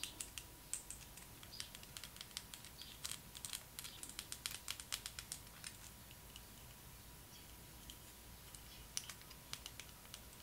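Long acrylic nails tap and click on a small hollow yellow plastic Barbie doll roller skate, producing dozens of quick, bright, dry ticks in irregular bursts. The clicks cluster most densely in the first half and die away almost instantly, over a quiet background with a faint steady tone.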